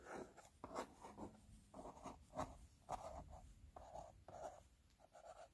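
Fingertips and nails scratch and tap across the front of a small, closed screen-protector cardboard box with a glossy printed surface. About nine quiet, dry, scratchy bursts come in short strokes, each centred in the mid range with little low end and almost no ring.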